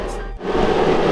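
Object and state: Nothing is struck.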